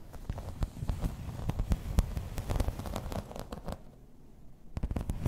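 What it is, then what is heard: Embossed plastic placemat. Long red nails tap and scratch across the raised pattern of a thin, solid, grey embossed plastic placemat. The result is a quiet, dense run of short crackling clicks and scraping rustles. The sound briefly settles around the four-second mark, then a burst of sharper taps returns at the end.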